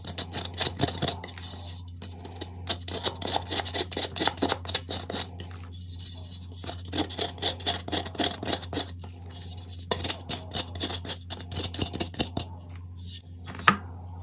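A metal spoon scrapes the inner walls of a white gym chalk block (magnesium carbonate) that has been carved into a deep hollow shell and is held in the hand. Dense, bright, gritty scratching comes in rapid bursts, with short pauses between passes. A low steady hum runs underneath, and near the end one sharp tap stands out before the block is held still without the spoon.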